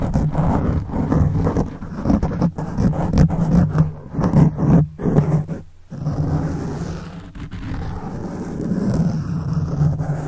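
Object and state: Foam microphone windscreen being scratched.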